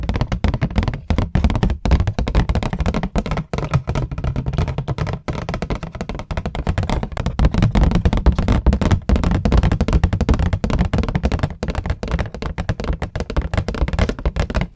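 A medium green hardcover book, with a solid cloth- or paper-covered board cover over paper pages, is held upright in front of a microphone and tapped on the cover with long nails and fingertips. The fast, continuous tapping produces dense, dull, low thuds that stop almost instantly, with little brightness.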